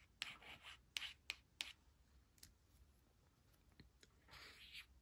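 A thin, flat laminated cardstock word strip reading "could not / couldn't" lies on a woven fabric blanket while its letters are traced and scratched with long acrylic nails and a thin white plastic stylus. Quiet, bright scratching and rubbing strokes are punctuated by sharp clicky taps, with most of the sound high and airy and little low end. A longer rubbing swell comes near the end.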